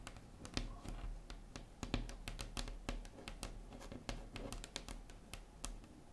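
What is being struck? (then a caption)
Wooden tabletop. Long acrylic nail tips tap quickly across a large, solid, flat wood-grain tabletop, like typing. It sounds like a rapid, irregular run of sharp, bright clicks, each dying away almost at once, over a steady low hum.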